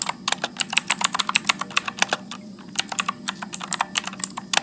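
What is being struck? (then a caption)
Plastic mechanical keyboard. Fingertips type continuously at medium speed on a backlit Motospeed mechanical keyboard with blue switches and plastic keycaps. About 30 sharp, bright clicks arrive in an uneven rhythm, each dying away almost instantly. Beneath them sits a faint low hum.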